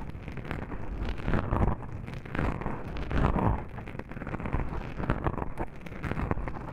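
Long pink nails on both hands scratch fast over soft black foam microphone windscreens, making a dense, muffled rumbling scrape. The sound is mostly deep and boomy with almost no brightness, rising in louder swells around 1.5, 2.5 and 3.3 seconds.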